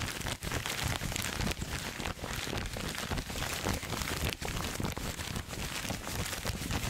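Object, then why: Thin paper wrapping sheet. A crumpled sheet of thin red-and-white striped wrapping paper is held in both hands close to the microphone and squeezed and crinkled with the fingers. The result is a dense, continuous crackling and rustling that spans low thumps to bright, high crinkles, with brief dips where the handling pauses.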